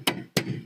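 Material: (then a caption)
Metal. A hammer knocks three times on the back of a car's left-side metal brake caliper, giving short, sharp metallic knocks that die away almost at once. The knocks sound unsteady and loose rather than solid, a sign of free play in the caliper pin that causes a "kup kup kup" noise when braking.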